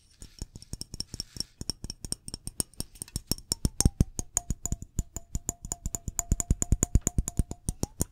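Fingernails tap quickly along the body of a Glade aerosol air freshener can, a hollow metal can with a printed label, about hand length, held in one hand. About 49 short, dry clicks come in a steady run, each with a low thump and bright metallic tick. From about the midpoint a faint ringing tone near 700 Hz hangs under the taps.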